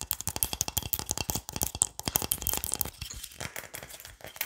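Fingernails tap quickly on the body of a hollow wooden pilón mortar. A rapid, uneven stream of short, dry, bright clicks and taps with almost no ring is heard, with a light low knock under some hits, easing slightly in the second half.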